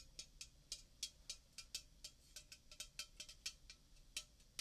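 A red Coca-Cola aluminium can of about 330 ml, unopened and full, is held near the microphone and tapped and scratched with painted fingernails. About nineteen quick, bright clicks sound out in an irregular rhythm, each dying away almost at once, with a faint low hum underneath.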